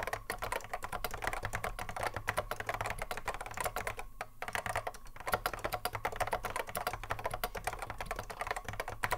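A cream Apple M0110A keyboard with a hollow plastic case and Alps SKCC mechanical switches, sitting on a wooden desk, is typed on continuously by the fingertips of both hands. A rapid, dense stream of short, crisp clacks fills the clip, with a faint steady low hum underneath. There is a brief lull just past the four-second mark before the typing resumes at full pace.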